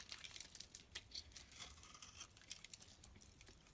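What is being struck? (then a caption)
Bar of soap scraped with a metal blade. A metal utility blade scrapes a solid pink, palm-sized oval bar of soap, peeling off long flakes. The result is a quiet, bright, dry crackling made of many quick, crisp ticks and scratchy rasps with very little low end.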